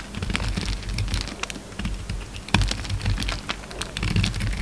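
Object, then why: Bar of soap scraped with a knife blade. A hand-held solid orange soap bar with remnants of a green coating is shaved and scraped with a utility knife blade. Dense, crisp crackling and short bright ticks ride over a steady low rumble, with one sharper snap partway through.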